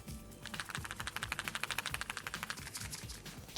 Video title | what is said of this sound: 【中華スマホはここまで来た!】シャオミから発売された20万円のスマホ付きカメラを分解解説！【Xiaomi 14 Ultra】 | ちなみに最近のスマホカメラは手ブレ補正やレンズの可動部が多いので振ると音が鳴ります